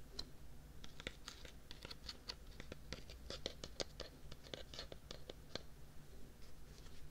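Fingernails scratch along the side and lid of a medium white plastic tub with a red-and-yellow printed lid, which looks hollow and is held beside a binaural mic. The sound is a quiet, rapid run of sharp, dry, bright scratches and ticks that stop almost instantly, over a steady low hum.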